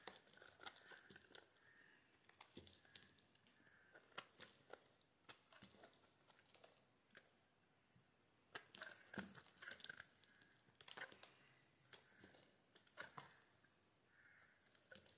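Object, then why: Soap bar scraped with a metal blade. A palm-sized solid white soap bar, held in the hand, is scraped and carved with a metal utility knife blade, with flakes falling onto the table. Dry, bright scraping and crisp crinkly cuts come in quick bursts with short pauses between them, each stroke fading almost at once.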